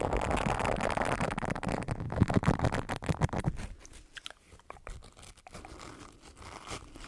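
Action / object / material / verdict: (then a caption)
scrape / silicone scrub pad with bristles / silicone / none. An oval green silicone body scrubber with a loop is bent while its bristles are scratched with the fingertips close to the microphone. Dense, crunchy scratching with a low body dominates the first three and a half seconds, then thins into quieter, scattered clicks and soft scrapes.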